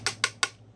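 Three taps on the anodized aluminum deck of a vape mod's atomizer give short, bright metallic clicks that die away almost at once, with a faint low hum underneath. The deck is light but solid metal, thick enough that it won't bend.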